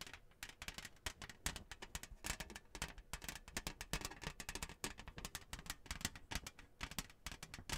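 Long nails tap and scratch the glossy surface of a flat, thin, printed cardboard Hanukkah placemat with a menorah design, held in hand. Quick, dry clicks come in a dense, uneven patter, each with a bright crackle and a soft low thud, over a faint rasp of scratching.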